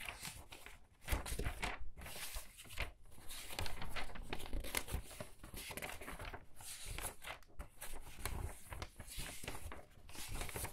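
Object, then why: Paper pages of a large hardcover book. Thin paper pages of a large hardcover book lying open on a table are flipped quickly by hands with long red nails, and the palm presses and rubs the open pages flat. A steady stream of crisp, crinkly rustles and bright papery swishes is heard, with soft low thumps as the pages settle and are smoothed down.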